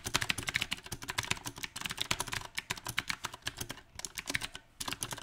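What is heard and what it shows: Fingertips of both hands type on a small 68-key backlit mechanical keyboard with round typewriter-style plastic keycaps on a silver metal plate. Around thirty bright, crisp clacks come in an uneven rhythm, with short pauses between bursts. Each keystroke is sharp and dies away almost instantly.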